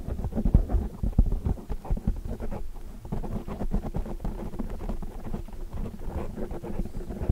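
Long dark nails tap and scratch the surface of a black foam microphone windscreen. The result is a continuous stream of muffled, boomy thumps and soft scratchy rustling, heavy in the low end with almost nothing bright. Each tap dies away almost instantly.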